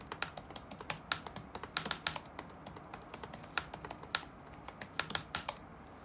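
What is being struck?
Plastic laptop keyboard keys.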